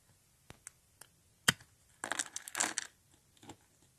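Hollow rolled tubes of thin, dry pink soap are crushed and broken with the fingertips. A few sharp, dry snaps come first, the loudest near the middle. A dense burst of bright crunching and crackling follows, then a couple of softer cracks with no lingering ring.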